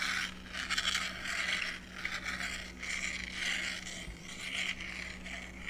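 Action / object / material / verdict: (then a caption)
scrape / scratch-art paper on card backing / coated paper / none. A blue stylus scratches lines across a flat, book-sized sheet of black-coated scratch-art paper on a thin card backing, lying on a wooden desk while the other hand's long nails rest on it. A series of bright, raspy scraping strokes swell and fade one after another. A faint, steady low hum runs underneath.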